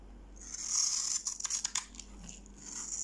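A metal knife blade cuts and scrapes thin grid-cut strips and cubes from the surface of a solid, dry, hand-sized yellow-orange bar of soap held in one hand. A bright, high, hissing scrape builds and grows louder, then a cluster of sharp crisp snaps and crackles breaks through. It settles back into a quieter, steady scraping hiss.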